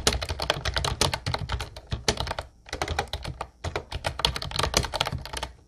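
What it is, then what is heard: Plastic typewriter-style keyboard. Both hands type with their fingertips on a mint-blue plastic Ubotie retro typewriter-style keyboard with round white keycaps. The result is a rapid, steady stream of crisp, bright clacks over a low plastic thump. The typing breaks off briefly twice before picking back up.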